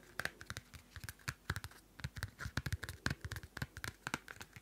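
Long nails scratch the cardstock cover of a small pocket Field Notes paper notebook held close to the mic. A rapid series of short, dry scratches sounds, each stroke with a soft low thump and a brief bright rasp that stops almost at once.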